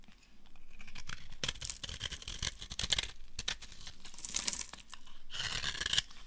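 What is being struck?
Bar of soap shaved with a knife.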